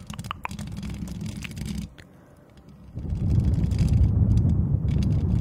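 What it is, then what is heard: Metal mesh microphone grille. Long decorated acrylic nails on both hands scratch and tap across the hollow, perforated metal mesh head of a white Blue Yeti-style condenser USB microphone. Heavy, low rumbling scratches are marked at first by a few sharp, bright taps. After a brief quieter lull, the scratching returns louder and denser.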